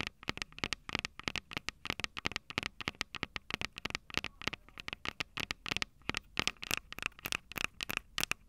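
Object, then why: Handheld audio recorder with metal microphone capsules. Long purple nails tap and scratch the metal heads of the two mic capsules on a small Tascam DR-05 recorder with a plastic body. A rapid, steady stream of sharp, dry clicks rings out, bright and crisp with almost no low end. Each tap dies away instantly, with faint scratchy rustling in between.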